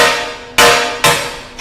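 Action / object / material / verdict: strike / float glass pane / glass / shattered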